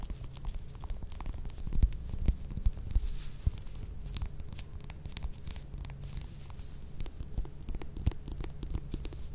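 Long red nails scratch the peel of a small whole orange, first resting on a table and then held in the hand. The scratching is soft, dense and rumbly, with a few sharper ticks and faint high crackle over the low drone.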